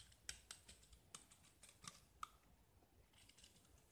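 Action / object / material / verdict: scrape / painted gypsum plaster disc scraped with a metal knife / gypsum plaster / none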